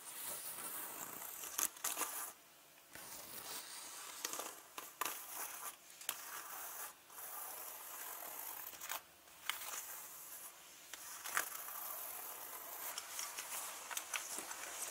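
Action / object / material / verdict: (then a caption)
scrape / leather handbag / leather / none. Fingertips and long nails scratch and rub the leather surface and handle area of a turquoise leather handbag with gold rings. The result is a soft, bright, crinkly scratching and rustling, broken by brief quiet gaps and a few sharper ticks.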